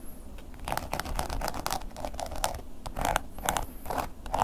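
A wooden ear pick scratches across a black woven-embossed leather long wallet lying flat and held steady by the other hand. It makes a run of quick, dry, crackly scratches with a low underlying rumble, each stroke ending almost instantly.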